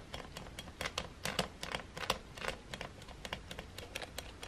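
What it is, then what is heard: Plastic hair dryer button. A fingertip presses and taps the button beside the slide switch on a silver, hollow plastic hair dryer. The result is an irregular stream of short, dry clicks with bright, crisp edges and no ring, over a soft low background.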